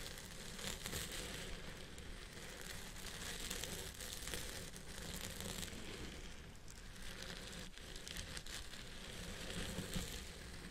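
Fingertips and nails of one hand scratch the fibers of a purple synthetic wig on the side of the crown of a head form. The result is a steady, dense crinkling and crackling rustle, bright and hissy on top with a soft low rumble underneath.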